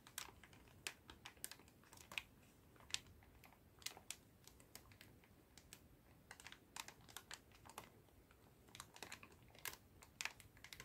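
A clear plastic bag full of cotton swabs is tilted and shaken in both hands while fingers squeeze the bag. The result is a steady, quiet, bright crinkling, with many short, sharp clicks scattered throughout that die away almost instantly.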